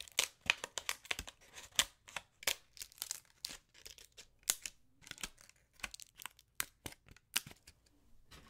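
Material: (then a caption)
Leaf. A large, thin, brittle dry brown autumn leaf held in both hands is crinkled and torn with fingers and nails. It makes a quick series of sharp, bright crackles and tearing snaps. Each burst dies away almost instantly, with almost no low end, between brief quiet gaps.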